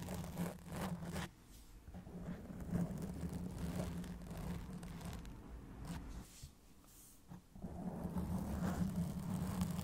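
Long acrylic nails slowly scratch the black foam windscreen on a silver Blue Yeti microphone, with the fingers near the metal body at the start. It makes a muffled, bass-heavy rubbing and rumbling with a steady low hum, and it drops quieter around 1.3 seconds and again from about 6 to 7.5 seconds before swelling back.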